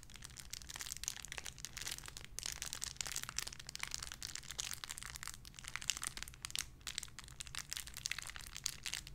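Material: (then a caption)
Plastic. A small clear plastic bag holding a pink paw squishy toy is crinkled and squeezed with fingertips. Dense, bright crinkling and crackling runs throughout at a soft level, over a steady low hum.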